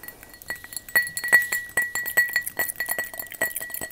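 A glass object is tapped with long fake "witch" fingernails in a rapid, irregular series of light clicks and clinks. Each tap has a short glassy ring around 2 kHz with a bright, high sparkle on top, and the ring fades almost at once.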